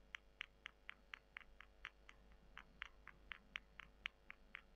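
Long nails scratch and squeeze two small, solid, dry, porous brown soy chunks, one held in each hand over a white table. A steady run of short, crisp, dry scratches and crunches repeats about twice a second. The bright clicks sit around 2 kHz against a faint low hum.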